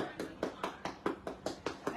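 A ripe durian fruit, judged ready to eat, is knocked on nine times in a steady rhythm. Each knock is a short, dull, hollow thud centered around 330 Hz with a bit of brighter attack, fading quickly between hits.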